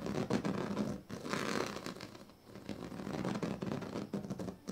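A pink plastic comb scratches across the strips of a large, flat woven plastic sleeping mat. It makes a continuous, rough, rasping scratch in repeated strokes that swell and fade, with a low ridged buzz under a bright, hissy texture.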